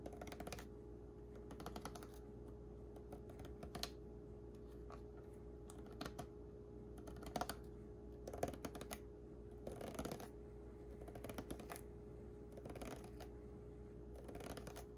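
A small, disposable clear plastic water bottle with a blue label, full of water, is held in one hand while the fingertips and nails of the other hand tap and scratch its ridged side. Soft, quick clicky taps and brief scratchy bursts come in loose clusters. They play over a constant low hum, and the overall level stays quiet.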